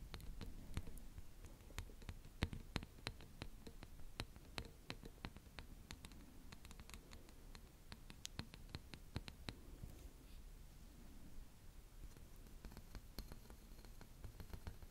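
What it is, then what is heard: Corrugated plastic tube. A long, hollow, flexible yellow ribbed plastic pop tube toy is held in an arch in front of the mic while fingertips and painted nails run and scratch along its ridges. Dozens of quick, dry, bright ticks rattle over a soft low rumble, dense at first and thinning out toward the end, all at a quiet level.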